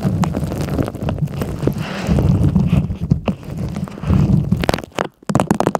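A clear plastic tumbler with a green lid, filled with beads, is tapped on the lid with long nails. The result is a dense run of low, rumbling rattles and knocks with short, dry clicks and brief quiet dips.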